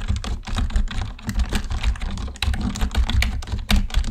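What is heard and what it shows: Fast fingertip typing with both hands on a black plastic computer keyboard produces a dense, steady run of short clicks over about four seconds. The keystrokes tap out quickly with brief, dry decays, carried on a heavy low thump beneath light bright clatter.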